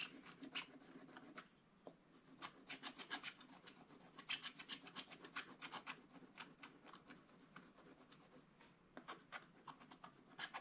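A wooden stylus scratches fill into the dog's face on a flat, black wax-coated scratch-art paper page. Dense, rapid, bright raspy strokes run throughout, with brief pauses between bursts.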